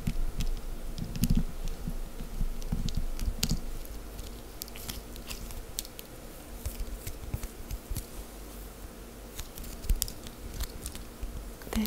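A small, soft, solid, folded lump of cream-coloured wax paste on a table is tapped and scratched with long green acrylic nails, then pinched and lifted. Quick, irregular soft taps and sticky clicks with sharp, bright nail ticks sit over a steady low hum. The tapping is busiest early on and then settles into quieter scratching and pinching.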